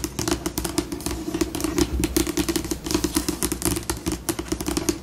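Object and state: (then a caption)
Laminated tabletop tapped and scratched with nails. Long pink acrylic nails tap and scratch a large, solid, flat, glossy white laminated tabletop with both hands, shifting between fast and slow. A rapid, uneven stream of short, dry clicks with bright edges sits over a steady tone around 330 Hz and a low rumble, each tap fading almost instantly.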